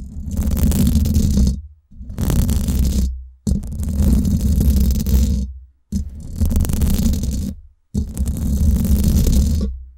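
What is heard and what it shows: Long acrylic nails scratch the hollow domed steel mesh head of a Blue Yeti microphone, producing five separate bursts of rough, rumbling scraping. Each burst is heavy in the low end with a steady grainy texture and breaks off into short silences between passes.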